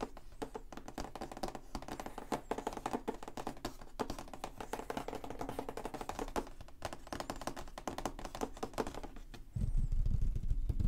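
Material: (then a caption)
Cardboard. Fingertips rapidly tap the top and back of a large printed cardboard Xbox Series X retail box, hollow with the contents still inside. Dense, quick, dull cardboard taps continue throughout. Near the end a low rumble rises beneath them.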